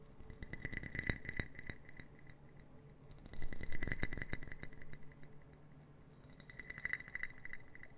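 A small brown wooden puzzle box made of interlocking solid wood pieces is held in both hands while long painted nails tap and click its pieces, rattling them. Quick, dry clicks come in three busy bursts, at the start, the middle and the end, with a bright clicky edge over a soft, low body. Each tap dies away almost at once.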